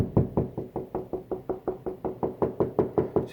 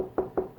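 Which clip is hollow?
The first.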